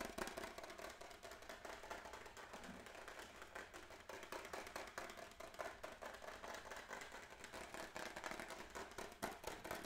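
Fingertips and nails rapidly tap and scratch the textured back of a white-grey plastic graphing calculator case held close. The result is a quiet, dense stream of dry plastic clicks and scratchy rustles, mostly in the mid and bright range with little low end. Each tap decays quickly.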